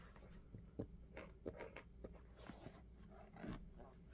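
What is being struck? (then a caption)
Rubber sneaker sole. Fingertips tap and scratch quickly across the textured rubber tread of a dark sneaker sole held up outsole-facing. About eight soft, dull taps stand out over faint scratching and a low, steady hum, each tap dying away almost instantly.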